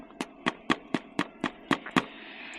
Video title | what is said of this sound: Teardrop Camping in the Rain – Homemade Burgers Done Right! | How do you tell when bread's ready? Tap it. It's hollow.